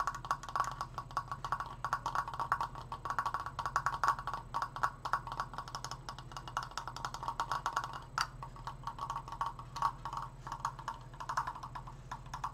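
Fingertips tap rapidly on a wooden Triforce decoration, producing a steady stream of short, dry, hollow knocks with a woody tone around 1.1 kHz. A low hum runs underneath throughout.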